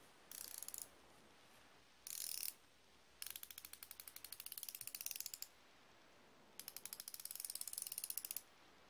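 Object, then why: Steel flexible-head ratcheting wrench. A solid chrome steel flexible-head ratcheting wrench is turned by the fingers at its hinged head, giving rapid, bright ratchet clicks. The clicking comes in four bursts: two short dense ones, then two longer runs of sharp, evenly spaced clicks with quiet gaps between.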